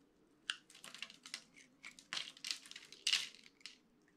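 A utility-knife blade scrapes and crumbles grid-cut cubes off the face of a solid, dry orange soap bar held in one hand. A quiet, rapid series of dry, crisp crunches and crumbly crackles is heard, bright and high-pitched with almost no low end. Each one cuts off quickly.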